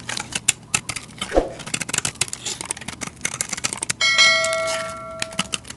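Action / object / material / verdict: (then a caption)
scrape / bar of soap shaved with a blade / soap / none. A hand with long dark nails holds a solid rectangular white bar of soap with a yellow rim while a utility knife blade shaves crumbly flakes off it. Quick, bright, dry scratching strokes rasp in an uneven rapid run. Near the end, a steady ringing tone rises over the scraping and slowly fades.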